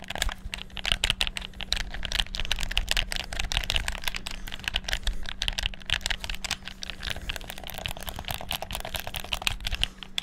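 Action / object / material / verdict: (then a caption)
tap / plastic game controller / plastic / none. Fingertips rapidly click the buttons of a black PS4-style plastic gamepad, producing a dense, continuous stream of short, bright plastic clicks. A steady low hum runs underneath the whole time.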